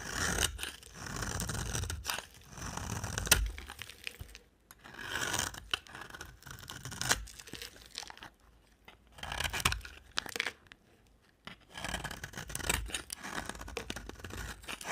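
A box cutter blade shaves and scrapes crumbly flakes off a solid orange-brown dry soap bar held in the hand. Bursts of dry, crunchy, tearing scrapes with bright, gritty texture come in repeated strokes, separated by brief quiet pauses.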